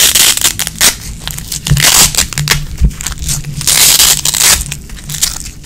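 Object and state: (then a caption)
Nylon hook-and-loop strap being peeled. A small red nylon hook-and-loop strap is held in both hands while long-nailed fingertips repeatedly peel the sides apart and press them back together. Each pull gives a dry, bright, crackling rip, and the bursts come at an uneven pace, some quick and some drawn out, with a faint low hum underneath.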